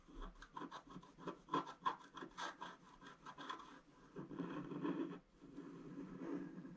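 A wooden stylus scratches leaf and flower details into a flat scratch art sheet with a black coating. Quick, dry scraping strokes come one after another, then give way to a longer, steadier rasping scratch. The sound sits mostly in the low-mid range, with a faint brighter edge.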